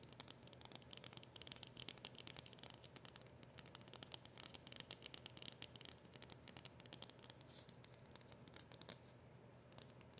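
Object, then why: Small flat cardboard packet. Long acrylic nails tap and scratch a small, flat, dark card packet for a silver polishing cloth, which has a round printed label on the front. The result is a quiet, continuous stream of quick, dry ticks and bright scratchy rasps over a faint steady low hum, with each tap dying away almost instantly.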